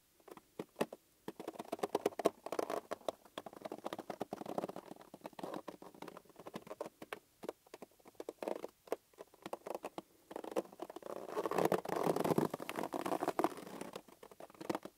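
Fingertips pat, squeeze and rub the surface of a green, hollow, hand-sized inflated latex rubber balloon. Quick, dry, muffled pats alternate with stretches of dense rubbery squeaking and rubbing that carry a mid-range tone, with brief quiet gaps in between.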